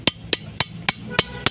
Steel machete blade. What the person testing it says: dia akan terdengar bunyi nyaringnya